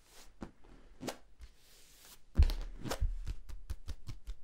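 Fingertips tap and scratch the folded ridges of a hollow yellow corrugated plastic tube compressed short. Dull, low, hollow taps with very short decay mix with light scratchy rustling. The taps start soft and grow louder and quicker in the second half.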